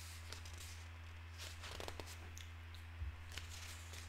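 One hand lifts and turns a page of an open broadsheet newspaper of thin paper lying on a wooden table, then smooths it flat with the fingertips. Quiet, bright rustles and crinkles come in short bursts over a steady low hum.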